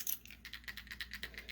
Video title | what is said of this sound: 6th Sense Fishing Super 6 Sack Unboxing – July 2021 | it also has a faint rattle chamber that creates a faint knocking sound